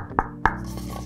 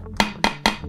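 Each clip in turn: First: hard plastic dog bowl. Second: metal food tray.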